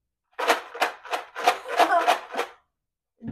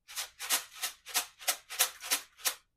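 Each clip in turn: First: paper plate shaker filled with rocks. Second: paper plate shaker filled with rice.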